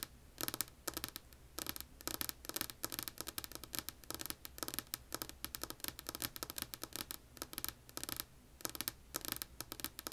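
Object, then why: Wooden tabletop. Long polished nails tap rapidly on a solid, flat light wood-grain tabletop. The clip is quiet: bursts of crisp, bright clicking come in uneven flurries, each tap dying almost instantly over a faint low steady hum.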